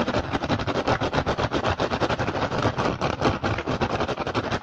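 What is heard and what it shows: Short fingernails and fingertips of both hands fast-tap and scratch the weave of an empty, upturned woven rattan or straw basket with green and red dyed strips, shaped like a hollow dome. The result is a dense, uneven stream of quick, dry clicks and crackly scratching, about 34 taps in under five seconds. Each tap dies away almost instantly, with a papery midrange centred near 600 Hz and a bright rustle on top.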